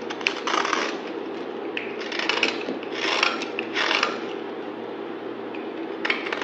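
A solid pink bar of soap held in the hand is shaved with a utility knife blade, cutting and scraping through it. Short bursts of crisp, bright, crackly scraping rise and fade over a steady low hum, with quick clicks between strokes.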